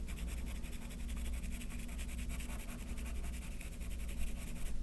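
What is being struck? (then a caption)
Graphite pencil on paper sheet. A yellow graphite pencil held at the fingertips makes small strokes on a white paper sheet resting on a wooden table, shading a sketch. A steady, dry scratching of quick strokes runs throughout with bright, rasping texture, over a constant low hum.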